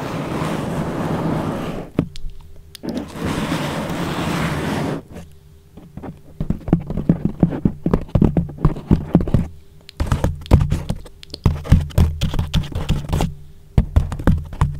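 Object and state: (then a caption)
Foam microphone cover being rubbed and tapped. Fingertips and nails of both hands rub, squeeze and tap a thick, soft yellow foam sheet wrapped loosely over a microphone, leaving a hollow space around it. Two long stretches of broad, breathy rubbing give way to dense, rapid tapping: muffled, low, boomy thumps with very short decay, with scratchy scrapes mixed in.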